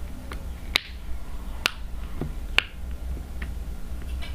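A flat, hand-sized rainbow silicone unicorn-shaped pop-it fidget toy with hollow bubble domes lies on a table and is tapped and poked on its bubbles with the tip of a yellow plastic marker. Crisp, snap-like clicks ring out high at around 2.7 kHz, with fainter ticks in between over a low steady hum.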